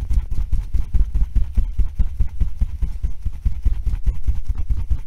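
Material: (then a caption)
Felt, rubber. A blue and yellow hollow felt-covered rubber tennis ball, held in one hand, is tapped and scratched with fingernails. The result is a quick, uneven run of soft, dull, low thumps with a faint scratchy texture, each dying away at once with no ring.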